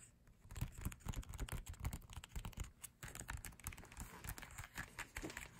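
Fingertips scratch and tap on the printed pages of an open glossy paper photobook. The result is a dense run of short, dry taps with soft scratchy rustling and little ring, weighted toward low thumps.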